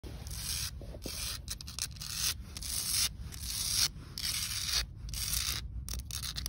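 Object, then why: Concrete pavement. Long acrylic nails and fingertips scratch and rub across flat, solid outdoor concrete pavement with lichen spots. Bright, hissy scraping strokes come in uneven bursts separated by brief gaps, over a steady low rumble.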